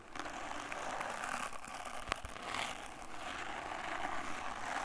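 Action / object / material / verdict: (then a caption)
scrape / wooden-backed brush with natural bristles / bristle / none. A small brush with a wooden back and natural bristles is held in one hand while fingers scratch and rub across the bristles. The result is a steady, dry scratching rustle with bright, crackly texture. One sharp tick stands out near the middle.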